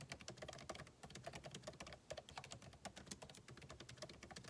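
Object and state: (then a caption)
Laptop keyboard typing. A backlit MacBook Pro keyboard, with plastic keycaps set in an aluminum body, is typed on with the fingertips. A continuous run of quick, dry key taps is heard, each a short click with a soft low thump and a bright edge that dies away almost at once.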